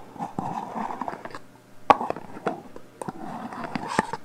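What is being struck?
Metal aerosol hairspray can.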